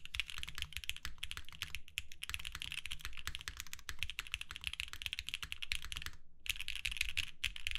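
A compact Babylon mechanical keyboard with plastic lavender and purple keycaps on a white hollow case, an FR4 plate, and filmed Alpaca switches is typed on continuously with the fingertips of both hands. It makes a rapid stream of short, sharp clacks with a bright top and a low, hollow thump beneath each keystroke. The typing briefly pauses just after six seconds, then resumes.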